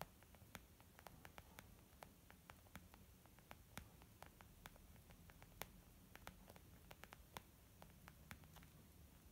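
Long almond-shaped nails tap on a small white textured leather zip makeup bag lying flat, soft and hollow. The result is a quick, irregular run of light, dry clicking taps that stop short with no ring, over a steady low hiss and rumble.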